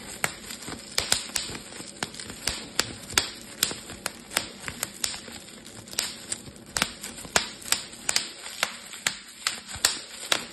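Bubbles on a clear plastic bubble wrap sheet are pinched and popped between fingertips, giving a run of 29 sharp, bright snaps spread irregularly across the clip. Each pop is a short crack that dies away almost at once, with little low end beneath it. A faint, steady high hiss and soft crinkling fill the gaps between pops.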